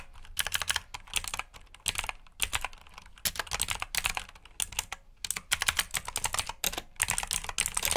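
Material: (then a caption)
Plastic. Fingertips type on the plastic keycaps of a black backlit mechanical keyboard, producing rapid bursts of bright, sharp clicks. The clicks come in quick runs separated by brief pauses, with very short decay and little low-end.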